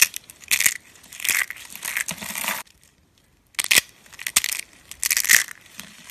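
Purple and green rolled curls of dry soap are crushed and crumbled by fingers into thin flakes. Bright, dry crunching and crackling comes in bursts of brittle snaps, with a brief silent pause midway before the crumbling resumes.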